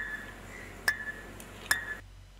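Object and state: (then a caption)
Well-burnt brick with a metallic ring. A well-burnt, first-class fired clay brick is struck with a hammer or another brick, giving two sharp, bright metallic clinks and fainter taps. Each clink has a short ring centred near 1.7 kHz. The metallic sound marks it as a good-quality brick.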